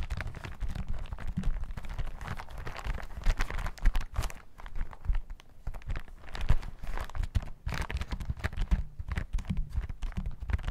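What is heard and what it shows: Fingertips of both hands tap and scratch a yellow plastic hazmat suit lying flat on a table. It makes a steady run of rapid, dull, low-heavy taps mixed with soft crinkling rustle, and each tap dies away almost at once.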